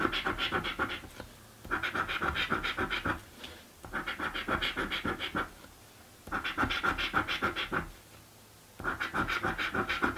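A coin scratches a thin, flat, blue cardboard scratch-off lottery ticket in five bursts of rapid, gritty back-and-forth strokes with short quiet pauses between them. The scraping has a dry, papery rasp focused in the mid and high range, with little low end.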